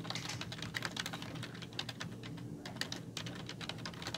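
Long fingernails type rapidly on the hollow keys of a black plastic computer keyboard. The result is a fast, steady stream of bright, short clicks and clacks over a faint low hum.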